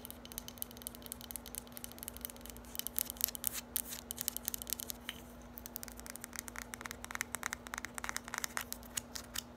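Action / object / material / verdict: tap / small hard plastic bottle / hard plastic / none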